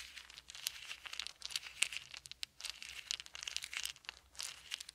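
Small solid wooden beads are held in both hands and rolled between the fingers above a pile of beads on a blanket. They make a steady stream of quick, bright clicks and crinkly rattles that rise and fall in dense bursts. Each click dies away almost instantly, with no low rumble beneath.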